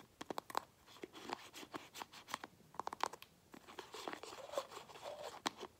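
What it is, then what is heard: Plastic paint bottle. Fingernails scratch and tap the tan cap and neck of a small light-blue plastic craft paint bottle, held in the other hand. A quick, irregular run of sharp, dry clicks mixes with crunchy, papery scratching, all quiet and with almost no low end. Each tap stops at once without ringing.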